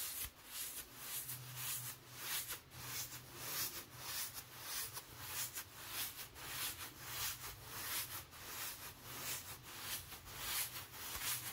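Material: Nothing is struck.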